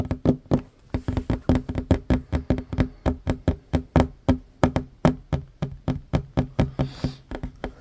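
Fingertips and short nails tap rapidly on a solid wooden tabletop, about 34 quick taps in a steady, fast rhythm. Each tap is a dull, low, woody knock with a tone near 250 Hz that dies away almost instantly.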